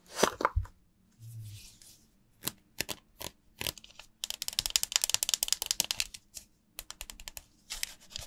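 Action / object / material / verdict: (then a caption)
scrape / bar of soap / soap / none. A dry, solid, hand-sized yellow oval bar of Tolk soap is held over a glass bowl of water and rubbed and scratched with long nails and fingertips. It makes crisp, bright scratches and clicks, some single and some in a dense run through the middle, with a brief soft, dull rub early on.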